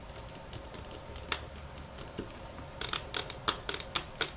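Long nails tap hard and fast on the slats of a flat bamboo stick mat lying at the edge of a counter. Rapid, bright, clicky taps land in quick bursts, each dying out almost instantly, with a few louder, sharper strikes standing out from the quieter flurry.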